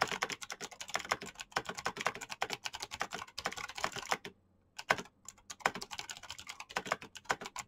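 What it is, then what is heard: Plastic mechanical keyboard being typed on. Very fast fingertip typing on a black plastic mechanical keyboard with clicky green switches produces a dense stream of sharp, bright clicks that stop almost instantly. The rapid keystrokes pause briefly just past the halfway point, then resume at the same quick pace.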